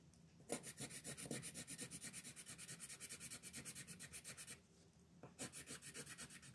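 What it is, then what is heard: Paper coloring page, pencil shading. A green colored pencil is rubbed rapidly back and forth across a flat paper coloring page on a table, shading it in about 37 quick, bright, scratchy strokes. The strokes run steadily for about four seconds, pause briefly, then resume near the end.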